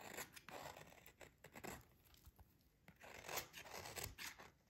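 A metal utility blade scrapes and shaves the surface of a solid, dry green oval soap bar held by fingers with dark nails. Soft, crisp, bright scraping strokes come in uneven bursts with short quiet gaps, each dying away almost at once.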